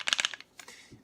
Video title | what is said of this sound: Glock 81 Field Knife Saw Back | so it's kind of noisy but that knife is not coming out